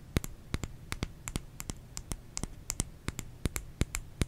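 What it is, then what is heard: Bar of soap (tapping). A bar of soap is tapped with fingernails in a quick, uneven series of about twenty short, dry clicks. Each tap gives a crisp, bright tick over a soft low thump and stops almost at once.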